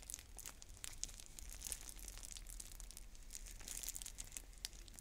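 Long nails crinkle, scratch and tear at the plastic shrink wrap on a clear plastic stacking bead container held in both hands. Dense, bright crackling and sharp little snaps run throughout, over a faint low rumble.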